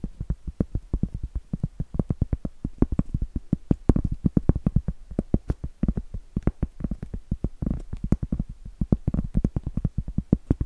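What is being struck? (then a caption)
Round cork board. Long acrylic nails tap and scratch a large, round, solid cork board held upright. Dozens of quick, dull, low-pitched taps fall in a steady, uneven patter, each dying away almost instantly, with soft scratching noise between them. The result is a dry, muted, bassy tapping with almost no brightness or ring.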